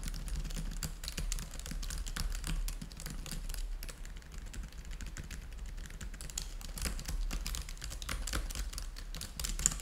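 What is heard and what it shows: Fingertips type steadily on the keys of a black plastic laptop keyboard, producing a continuous run of quick, bright clicks and taps with almost no ring. A low hum sits underneath the keystrokes throughout.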